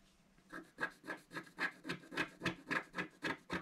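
A wooden stylus scratches the centre of a black-coated scratch-art card in a book, making a steady run of short, rhythmic scratching strokes, roughly three to four per second. Each stroke is a dry, rasping scrape with a bright, papery hiss.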